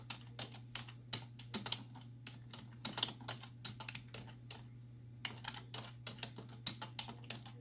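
Long nails and fingertips tap rapidly on the hollow keys of a black plastic computer keyboard resting on a wooden desk. Quick, bright clicks come in uneven bursts with very short decay, over a steady low hum.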